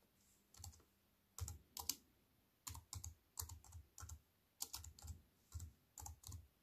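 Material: Plastic.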